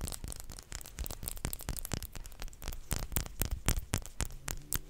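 A small clear glass perfume bottle, partly filled with pink liquid and held in the fingers, is tapped with short nails in quick, uneven succession. Each tap is a short, bright click with a faint glassy ring that dies away almost at once. A soft low rumble stays underneath throughout.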